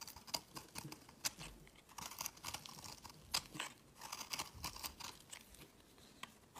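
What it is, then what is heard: Soap bar being carved. A metal utility blade scrapes crumbly shavings off a solid, palm-sized blue-green marbled soap bar held in the hand. The result is a quiet run of dry, crunchy scrapes and crackles, bright and hissy with very little low end, with a few sharper crisp strokes standing out.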